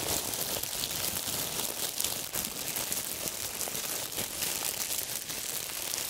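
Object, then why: Thin clear plastic bag. A small, thin clear plastic bag is held in both hands and crumpled and squeezed by the fingers. It makes a steady, dense crinkling that is bright and high with little low end, and faint crackles flicker throughout the whole clip.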